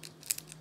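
The crisp phyllo top layer of homemade baklava made for iftar is handled, giving five short, dry, bright crackles, the last one longer and loudest. The baklava turned out as intended, soft on the bottom and crisp on top.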